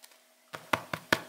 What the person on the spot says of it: it sounds really hollow and crispy i would say this bread is done